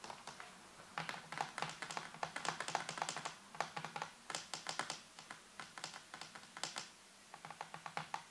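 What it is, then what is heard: Plastic computer keyboard being typed on. Fingertips and nails tap and press the keys of a full-size black plastic computer keyboard with a white base and hollow housing. Bursts of quick, crisp plastic clicks have a faint tone near 870 Hz and a bright top end. Each click dies away almost instantly, with short pauses between runs of typing.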